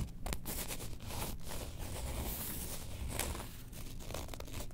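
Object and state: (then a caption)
Faux leather wallet being scratched. Long nails scratch the printed surface of a faux leather Star Wars character wallet held upright in both hands. The result is a steady, close, crinkly scratching over a dense low rumble, with bright rasping streaks that swell and fade as the nails move.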